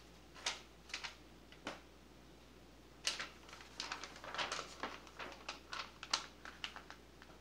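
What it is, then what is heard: Glossy paper magazine. An open glossy paper magazine, Martha Stewart Living, lies flat on a lace tablecloth while a hand turns a page, then rubs and smooths the spread with a flat palm and fingertips. A few separate crisp paper swishes come first, then a denser run of bright rustles and crackles over a faint steady low hum.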